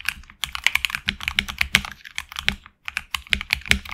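Fingertips of both hands type on a HyperX Alloy Origins Core tenkeyless mechanical keyboard with HX Red switches, PBT plastic keycaps on an aluminum plate and a hollow case. A quick run of bright, crisp clacks with little low end and very short decay is heard, with a brief pause before the typing resumes.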